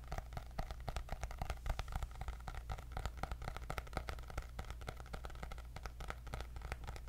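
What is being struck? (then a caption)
Hardcover notebook with cardboard cover. A white hardcover paper notebook with gold dots and a cardboard cover is tapped rapidly with long nails and fingertips. Quick, dry, clicky taps come in a steady, uneven stream with no ring after each one, over a constant low hum.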